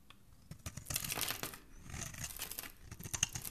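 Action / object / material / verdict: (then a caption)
scrape / bar of soap scraped with a metal blade / soap / none. A palm-sized, solid, rounded white bar of soap held in the hand has curls shaved off its surface by a metal craft blade. It produces a run of quick, dry scraping and crisp shaving strokes, bright and papery, with short bursts that rise and fall in intensity.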